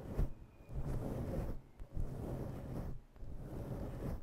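Long nails slowly grip and scratch a fluffy faux-fur microphone windscreen. The result is a dense, muffled, low rumbling crackle with almost no high end, broken by two brief quieter gaps between strokes.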